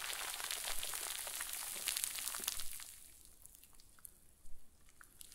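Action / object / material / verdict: scrape / plastic bag filled with fluffy stuffing / plastic / none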